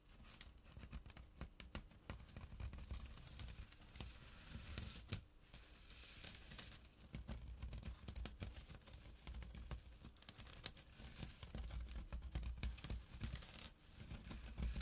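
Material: Burlap.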